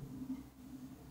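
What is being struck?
Nothing is struck.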